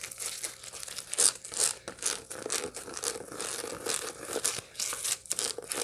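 A dried sunflower head with its seeds still attached is held in both hands and scratched with long light-blue nails over the seeds. The result is a rapid, irregular run of dry, bright crinkling and crackling scratches, with a few louder bursts, over a faint steady low hum.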